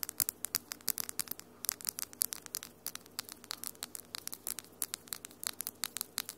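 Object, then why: Long acrylic fingernails. Long almond-shaped acrylic nails with solid glitter polish tap and scratch against each other in a quick, uneven stream of dozens of sharp, bright clicks. Each click stops almost instantly, and a faint steady hum sits underneath throughout.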